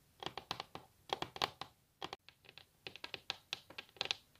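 Long natural nails tap fast across a solid varnished wooden tabletop and scratch along its surface. About twenty crisp, bright clicks come in quick clusters with brief pauses, each dying away almost at once, with scraping between the taps and almost no low end.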